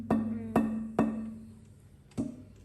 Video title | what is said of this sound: Building a Solid Hardwood Cajon | straight away you can hear it has a ring it rings it's got a tonality about it